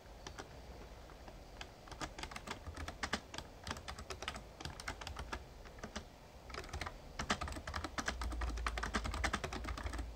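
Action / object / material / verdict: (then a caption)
tap / plastic membrane keyboard / plastic / none. Fingertips type on the plastic keys of a full-size backlit Razer Ornata Chroma mecha-membrane gaming keyboard, producing quick, uneven runs of bright clicky taps with a few short pauses. A steady low hum sits beneath the keystrokes, and the typing grows denser and louder toward the end.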